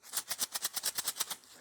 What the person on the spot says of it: If I shake it, sounds like a pair of maracas. And that's because inside here there's metal shot.